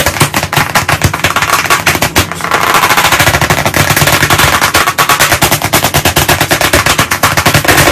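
Both hands tap pieces of chalk very fast on the flat surface of a large black chalkboard set in a wooden frame. The result is a dense, rapid-fire stream of sharp, dry clicks with a bright edge and little ring, almost like a burst of gunfire. It briefly thins out just after two seconds before resuming at full speed.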